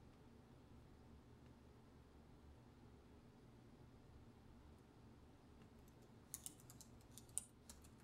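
Both hands type with fingertips and short nails on a full-size black plastic computer keyboard with hollow plastic key caps, resting on a counter. A quiet, steady low hum fills the first six seconds before a short burst of sharp, bright, crisp key clicks with very brief ring at the end.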